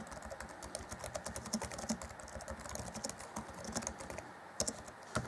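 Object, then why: Plastic laptop keyboard keys. Fingertips of both hands type rapidly on the black plastic chiclet keys of a grey Acer Chromebook C20 (2014) laptop keyboard deck. A fast, steady stream of short, dry plastic clicks and taps with bright ticks fills the clip, each keystroke dying away almost instantly. A few louder keystrokes stand out near the end.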